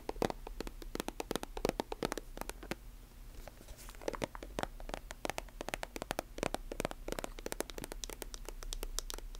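Long nails tap and scratch a silver, metallic-plastic squeeze lotion tube with a chrome cap, hollow and filled. The result is a quiet, rapid, uneven stream of sharp, dry clicks with very short decay, mixed with soft scratching over a faint low hum.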